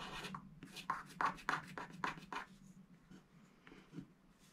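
A wooden stylus scratches a thin, wax-coated scratch art sticker sheet along a tall giraffe shape, its strokes running up and down while the other hand presses the sheet down. About ten dry, raspy scratching strokes come in quick bursts, the first half louder and denser and the later strokes softer and more spaced out.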